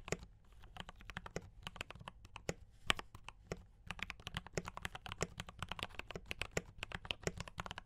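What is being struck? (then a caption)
Mechanical keyboard with plastic keycaps. Fingertips type quickly on a mechanical keyboard with brown switches and cream and red plastic keycaps, producing a dense run of short, crisp clicks and clacks. Each keystroke is a sharp, dry tap with a bright top and a light low thump, with no ringing. The strokes come in an uneven, rapid stream with occasional louder presses.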